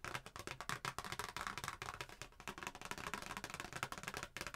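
A thin, flat printed cardstock Christmas greeting card with a red truck picture is held in both hands and tapped and scratched with long painted nails. The result is a dense run of quick, dry clicking taps mixed with bright, papery scratching, and each hit dies away almost instantly.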